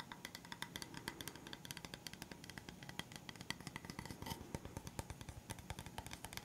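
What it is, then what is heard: Bamboo coaster. A round, flat, solid bamboo or wood coaster is held upright and tapped quickly with the fingertips and nails. It gives a rapid, steady stream of short, dry taps that mix soft low knocks with bright, crisp nail clicks, each dying away almost instantly.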